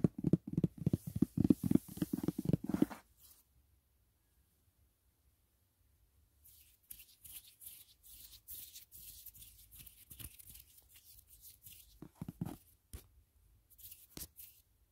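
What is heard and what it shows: Fingertips rapidly tap the lid of a white rigid cardboard gift box for a Dashing Diva nail set, giving quick, dull, low knocks for about three seconds. After a pause of near silence, the fingertips scratch across the lid with a bright, dry rasping, broken by a few more soft taps.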